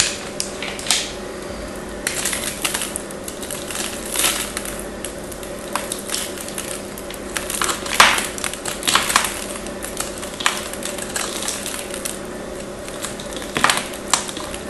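A craft knife scrapes and shaves a small, hand-held piece of solid pink bar soap with a crosshatched surface, gripped by long nails. Bright, crisp scraping and crackling ticks come in quick bursts, with sharper snaps standing out, over a faint steady hum.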